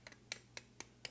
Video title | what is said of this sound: Dr. Malinda Maynor Lowery, Mellon Foundation Fellow, Lumbee Corn & Collards | you can hear it. You can tell it's really tough. Um, it shouldn't sound like that. It should be full of water.